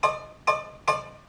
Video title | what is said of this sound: Part 2: Making the Scoop Backplate | you should hear like a high pitch like ding, like a ding. If you hear that sound, that means it's good